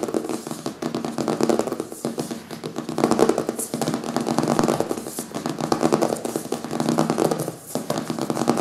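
Fingernails scratch and fingertips tap the front cover of a closed, thick "Zombies" hardcover book with a printed paper cover, lying solid on a wooden table. The result is a dense, continuous run of crackly scratching and quick dry taps, mostly in the low-mid range. The sound holds a fairly even level with a brief lull near the end.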